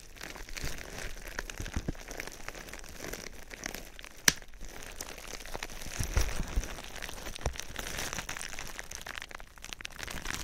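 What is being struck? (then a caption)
Plastic bubble wrap. Clear plastic bubble wrap wrapped around a binaural microphone is scratched and rubbed by fingertips, producing a steady bright crinkling and crackling with soft low rumbles. A single sharp, loud click stands out about a third of the way through, and a few firmer crunches follow later.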